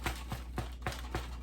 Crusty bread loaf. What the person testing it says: if you knock on it you can hear that like it has a hollow sound